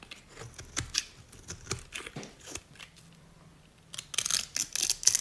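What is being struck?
Bar of dried soap.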